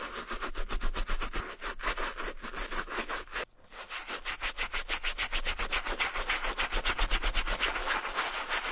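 The tongue and collar of a hollow Adidas Marathon suede-and-mesh running sneaker, held in a gloved hand, are wet-scrubbed with a wooden bristle brush and soap foam. Rapid, fairly regular back-and-forth strokes, about four per second, make a bright, hissy rubbing with a soft low thump under each stroke. The strokes pause briefly around the middle, then resume steadily to the end.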